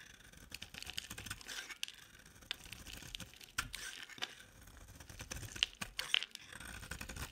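A metal box-cutter blade shaves an oval, palm-sized green bar of solid dry soap with a silver-coated back into flakes. Dry, crisp scraping and crackling cuts come in quick, uneven bursts, bright and high with little low end and almost no ring. Occasional sharper snaps stand out above the steady rasp.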